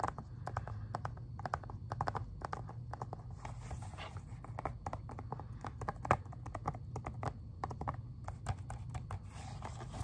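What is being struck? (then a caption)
Plastic video game case. Fingernails tap and scratch across the front of an Xbox 360 plastic game case turned sideways. Quick, dry, clicky taps come in rapid irregular bursts over soft scratching and a steady low hum, with each tap dying away almost instantly.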